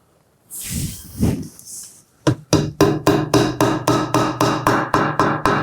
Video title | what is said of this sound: How to Make Screws Disappear Completely | you'll hear it bottom out. The sound of the tapping changes.